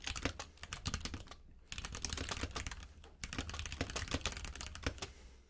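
Fingertips of both hands type continuously on a compact 60% mechanical keyboard with pink and white plastic keycaps resting on a plush mat. The result is a rapid stream of short, bright, clicky keystrokes with two brief pauses, over a steady low hum.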